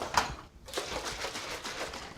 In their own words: that's my almond milk you hear because I always Shake It Up